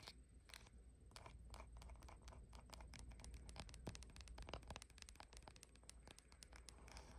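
Long nails tap and scratch the glass back of a bare blue iPhone with no case, held in both hands while it records itself. Quick, irregular clicky taps run together with scraping, over a steady low rumble and a faint constant high tone.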